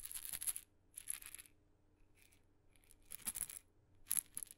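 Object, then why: Small painted wooden maraca with loose filling. A tiny red maraca with blue dots, a glossy painted wooden head and a wooden handle, with loose filling in its hollow head, is held in the fingertips and shaken close to the microphone. It gives short bursts of bright, dry, crisp rattling hiss, separated by near-silent pauses over a faint low hum.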